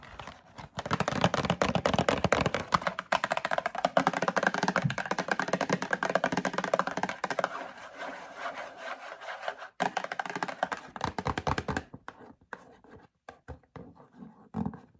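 Long acrylic nails tap and scratch the faces of a medium printed cardboard Breakfast Essentials box held in the hand. A dense run of rapid, dry scratching and tapping fills the first twelve seconds, with a brief break near ten seconds, centered in the midrange around 650 Hz. The sound then thins to sparse, quieter taps with short pauses between them.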